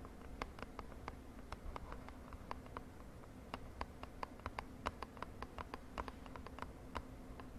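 Long nails tap quickly on a small purple printed cardboard cosmetic box held in the hand. The result is a rapid, irregular run of short, dry, papery ticks over a faint low steady hum and background rumble.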